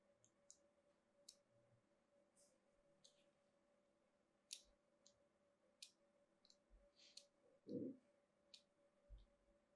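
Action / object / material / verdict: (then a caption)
scrape / soap bar scored with a metal blade / soap / none. A solid cream-colored, hand-sized rectangular bar of soap, held in one hand with long nails, is carved with a thin metal craft blade in repeated short strokes that cut fine grooves into its surface. About eleven quiet, bright, crisp scratching clicks are spaced out over a faint steady hum, with one louder, fuller scrape near the end.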